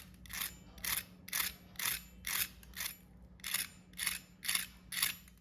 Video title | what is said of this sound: KFC Style Healthy Crispy Paneer - Healthy Evening Snacks - | first listen to its sound, how crispy it has become